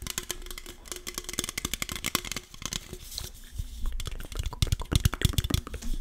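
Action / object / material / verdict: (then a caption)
tap / aluminum drink can / aluminum / none. A red, standard-size, hollow Coca-Cola aluminum can, fill unknown, is held in both hands behind the microphone while fingertips and nails tap and scratch its side. Rapid, irregular clicks and scratchy crinkles mix bright, sharp edges with soft low thumps, each dying away almost instantly. The taps come thicker and louder toward the end.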